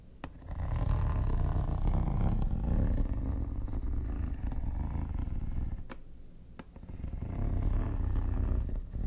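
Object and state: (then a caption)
Plastic hard-shell case, scratched. Metal tweezers scratch the textured top of a hollow, mint-green quilted hard plastic vanity case. The scraping comes through as a steady, low, rumbling drone that fades briefly near the six-second mark before building again, with a few sharp clicks standing out near the start and in the middle.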